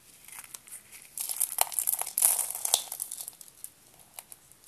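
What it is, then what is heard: Dry soap rolls crushed. Fingers with purple nails crush a cluster of small, hollow, blue dry soap spiral rolls one by one. Bright, dry crinkling crunches start sparse, build into a dense crackling burst in the middle, then thin back out to scattered soft crunches.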